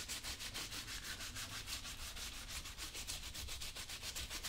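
A blue cloth wrapped over fingertips is rubbed repeatedly across a brown leather work boot worn on the right foot. The quick back-and-forth strokes make a steady, bright, airy swishing over a low, hollow thump from the boot with the foot inside.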